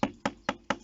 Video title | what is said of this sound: SUIVI ABRI EN PALETTE 2 ANS APRES | on entend si le bois, vous savez, si ça sonne creux ou pas